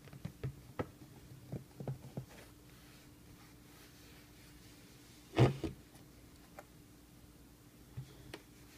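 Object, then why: Fabric-covered rigid cardboard box. Fingertips tap the flat top of a closed, book-sized, rigid cardboard box set covered in blue suede-like fabric, held while it lies on a table. Soft, dull, low thuds come in an irregular scatter: a cluster of light taps early on, one firmer knock with a quick follow-up near the middle, then a few faint taps toward the end. Each thud dies away almost at once over a quiet, steady low hum.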